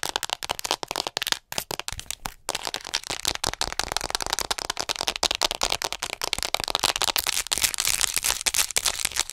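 A hollow white plastic acupuncture model doll is held in front of the mic and tapped quickly with long acrylic nails. The result is a dense, continuous stream of sharp, bright clicks with almost no low end and no ring after each tap.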